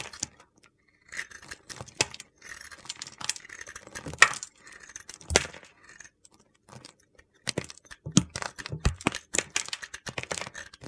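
A solid white bar of soap coated in gold glitter is shaved with a metal utility knife blade held against the fingers. Bursts of dry, gritty scraping and crunchy cuts come in irregular clusters, some sharp and bright, with a short pause partway through before the shaving resumes.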